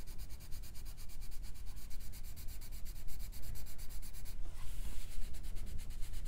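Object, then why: Colored pencil on a thin paper page. A colored pencil is rubbed back and forth on a thin paper page of an open paperback coloring book lying flat on a fur rug, shading the page. It makes a steady, scratchy rubbing with a quick regular rhythm of strokes, a low rumble underneath and a bright papery hiss. Partway through, the strokes briefly blur into a smoother hiss before the rhythmic scratching resumes.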